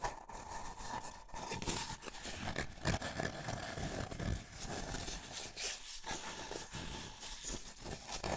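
A small, empty, hollow white paper cup is held in both hands while fingertips and nails rub and scratch its outer wall. The result is a steady, dry scratching and rubbing texture with a low body and bright, papery edges, rising and falling in short strokes throughout.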